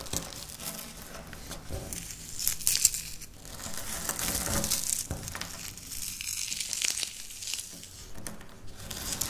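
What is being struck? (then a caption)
Wafer biscuit crumbs. Dry wafer biscuit crumbs are rubbed, pinched and crushed with fingertips and long nails on a stone surface. A steady stream of bright, crackly crunching and crinkling runs throughout, with a few louder sharp crackles partway through.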